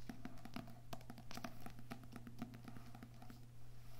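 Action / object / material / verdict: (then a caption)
tap / books with paper and cardboard covers / paper, cardboard / none. Books with paper and cardboard covers are tapped softly with the fingertips in quiet, irregular patter. The hits are quick, dull and hollow, with a faint low hum running underneath throughout.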